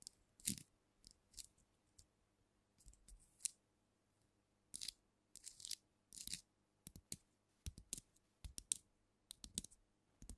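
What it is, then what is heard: Glass liquor bottle, tapped at the capped neck. Long nails tap and scratch a filled glass cognac bottle held tilted, working mostly on the black-capsuled neck and cap end, so part of the sound may come from the capsule rather than the glass. Quiet, sharp, bright clicks and short scratchy bursts come in irregular clusters, each dying away almost instantly with no ring.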